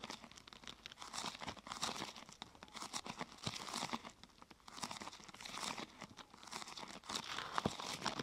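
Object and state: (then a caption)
Thin plastic sheet crinkling. Fingers press and scratch the top of a thin, glossy purple plastic sheet curved into a hollow half-tube. The result is a steady stream of dry, bright crinkling and crackling that swells and fades in waves, with little low end and no ring.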